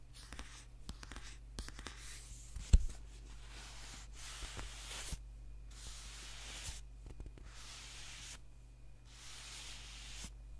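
Fingernails scratch the glossy cover of a thick, solid paperback book with a white page block, then the book is held upright while its page edges are tapped and scratched. Soft, breathy scratching comes in repeated bursts over a steady low hum, broken by one sharp tap early on.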